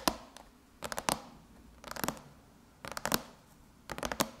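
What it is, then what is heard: Aluminum laptop lid tapped with fingernails. Long chrome nails on both hands scratch and tap beside the logo on a closed silver aluminum MacBook lid. Quiet bursts of quick, bright clicking taps with light scratching repeat about once a second, each dying away almost at once against a soft hiss.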